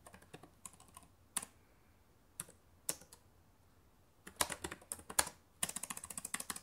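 Fingertips with long painted nails type on the plastic keys of a black laptop keyboard, producing sharp, bright clicks. The keystrokes come in irregular bursts with quiet pauses between them, and the pace picks up into a dense flurry near the end.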